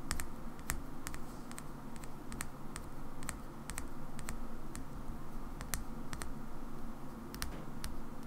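A small, hand-sized black plastic Xbox rechargeable battery pack is held in the fingers and tapped with long nails. The result is a slow, uneven series of sharp, dry clicks that are bright and die away almost instantly, over a steady low rumble.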